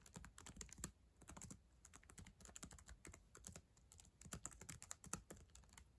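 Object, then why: Plastic laptop keyboard keys tapped with acrylic nails. Long acrylic nails and fingertips type on the plastic keys of a black ThinkPad laptop keyboard resting on a yellow blanket. A steady, uneven stream of quick, quiet clicks and taps, each bright at the top with a soft low thud beneath, stops dead without any ring.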